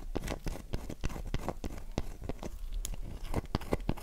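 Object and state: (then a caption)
Dry bar of soap. Long nails scratch and scrape a solid, dry, oval light-blue bar of soap held in the palm, its box lying untouched nearby. A rapid series of short, dry scratching strokes rasps over a soft low rumble, each stroke dying away almost instantly.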